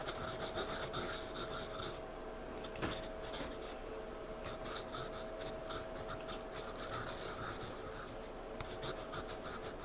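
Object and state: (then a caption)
Pencil scribbling on a paper sketchpad. A wooden pencil held in a hand rubs and scribbles across the page of a spiral-bound paper sketchpad lying flat on a surface, shading a dark area. A steady, dry scratching and rubbing of the pencil lead on paper continues throughout, with bursts of brighter rasping strokes over a faint constant hum.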